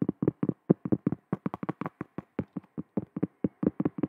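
Long acrylic nails tap and scratch on a large, round, solid cork trivet, which is fully visible by the end. About 22 quick, dull, muffled taps with no ring land in an uneven rhythm, with their energy centred low around 200 Hz.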